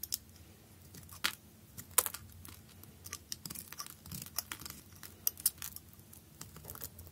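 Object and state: Bar soap cut with a blade.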